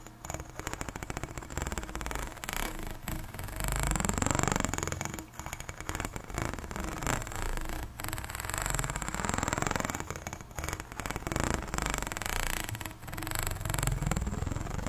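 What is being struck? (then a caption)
Corrugated plastic pop tube. Long nails scratch along the corrugations of an extended pink, ribbed, hollow plastic pop tube. The result is a steady run of rapid ratcheting clicks with a low, hollow body, rising and falling in strokes over about fifteen seconds.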